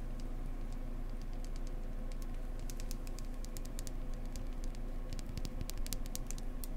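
A beehive-shaped beeswax candle is tapped gently up close with fingers, with some scratchy tapping mixed in. Soft, irregular taps give short bright clicks over a steady low hum, with a faint rustle between them.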